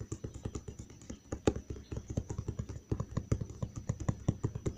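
Fingertips tap and lightly scratch the flat side of a large, hollow brown cardboard box, producing a rapid run of about thirty soft, dull thuds. The taps are mostly low in tone, with faint scratchy texture, and each one dies away almost instantly.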